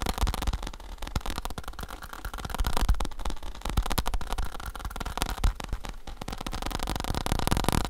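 Fingertips tap rapidly on a faux leather saddle, making a quick, continuous stream of soft, dull thumps. The taps are low and muffled, with each one dying away almost instantly.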